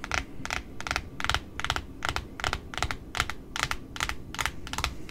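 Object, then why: Cardboard ribbon spool wound with satin ribbon. Long fingernails tap and scratch the white cardboard face of a large pink satin ribbon spool, heard close up. A quick, uneven run of dry, crisp clicks and brief scrapes, bright and short with almost no ring, sits over a faint low rumble.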